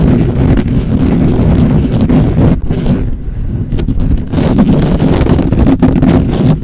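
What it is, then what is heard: Metal mesh microphone grille being scratched. Fingertips and nails of both hands quickly scratch and tap the hollow, perforated metal mesh head of a black microphone. The result is a dense, boomy, rumbling scratching with a heavy low end and little high content, continuous apart from a brief dip and a slightly quieter stretch midway.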